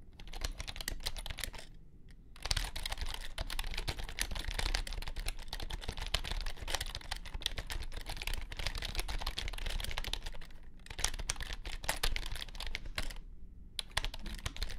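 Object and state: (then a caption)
Compact plastic keyboard being typed on. Fingertips type quickly on a compact white plastic keyboard with low-profile keys, producing a dense stream of light, crisp clicks and taps. The typing pauses briefly about three times, and a steady low rumble sits underneath throughout.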